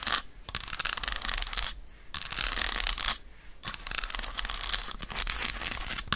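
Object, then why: Dark chocolate bar. Long acrylic nails scratch and tap quickly across the squares of an unwrapped solid dark chocolate bar held in the hand. Dense, bright, crackly bursts of scratching and clicking run through the clip, broken by two short pauses.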